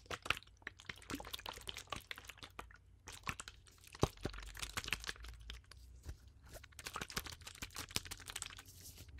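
A clear, thin plastic water bottle with a blue cap, partly filled, is squeezed and crinkled by gloved hands close to the microphone. It makes a dense run of sharp crackling pops and crinkles, bright and clicky with a faint low hum under them, and it goes on at varying intensity through the whole clip.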